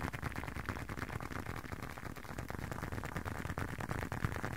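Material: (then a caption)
Leather. Fingertips and nails tap and scratch the surface of a small, hollow, folded blue and dark leather wallet held close to the ear and microphone. A steady, fairly irregular stream of dull, low, muffled taps comes about three per second, mixed with soft scratching. Each tap is short with almost no ring.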